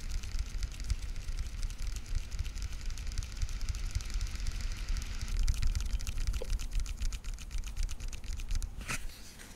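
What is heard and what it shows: Long painted nails tap rapidly across the day-lettered lids of a small, hollow, translucent blue plastic weekly pill organizer held in front of the microphone. Quick, irregular, bright plastic clicks patter over a steady low rumble, with a louder flurry near the end before the tapping thins out.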